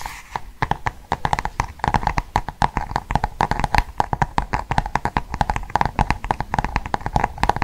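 Fingernails tap and scratch the glossy cardboard cover of a large Cath Kidston hardcover book held in both hands. A rapid, uneven run of short, dry taps continues throughout, with a faint steady tone near 840 Hz beneath them.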